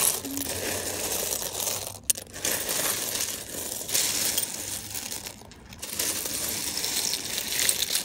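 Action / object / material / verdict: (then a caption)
shake / loose pile of small plastic and metal sewing buttons / plastic, metal / none. A large loose pile of small mixed plastic and metal sewing buttons is picked through and stirred by fingers. The buttons clack and rattle together in a dense, bright, continuous shuffle with brief quieter pauses.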